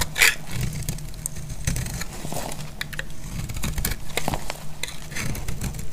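A solid oval bar of dried red-and-white striped soap, held in the hand, is shaved with a metal utility blade. Crisp, crunchy scraping and crackling sounds are heard as chips come off, over a steady low rumble.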